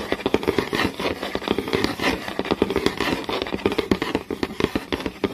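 Fingertips and long nails tap fast on a flat, solid wooden board with visible grain and scratch along the grain. The result is a dense run of short, dry knocks with almost no ring, centered in the low-mid range, over a continuous bright, scratchy rasp.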